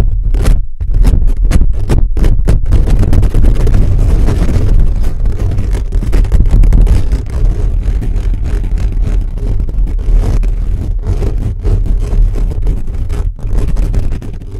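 Fingertips and nails scratch fast and aggressively across a hollow black metal mesh microphone grille. The result is a dense, continuous run of rough scraping and rubbing, almost entirely a deep, booming low rumble with rapid crackly bursts and short dips between strokes.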